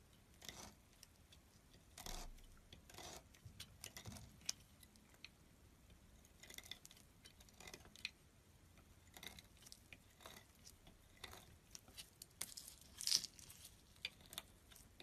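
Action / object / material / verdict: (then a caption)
scrape / soap bar cut with a small metal blade / soap / none. A small metal blade slices thin strips from a solid light green branded bar of soap resting on a table. The result is a series of quiet, crisp, bright cutting and scraping strokes with short, dry attacks and almost no low end.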